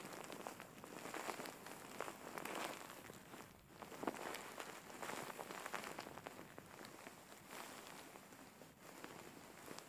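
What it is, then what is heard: Faux fur pillow. Fingers scratch and rub the fur of a large, soft-filled grey faux fur pillow up close. The result is a quiet, continuous, dense crackling rustle with brief brighter scratchy bursts that swell and fade, with almost no low end.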